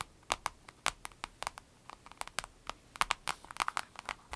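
Long red nails tap and scratch on a small, hollow, transparent vinyl zip pouch with an avocado print and some items inside. About twenty-two quick, dry taps ring out with a crisp plasticky click near 1.1 kHz and a bright top. Each decays almost instantly, with faint crinkly scratching between them.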